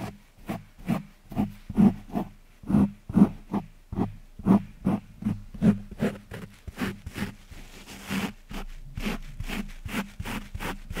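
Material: Foam.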